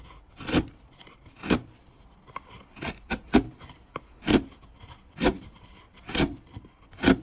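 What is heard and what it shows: A broad steel chisel is pushed by hand down the side of a large, solid, pale wood cylinder standing on a wooden workbench, paring off thin curled shavings. Each stroke gives a short, dry rasping scrape with a bright hiss over a low woody body. The strokes repeat at about one per second, with quiet pauses between them.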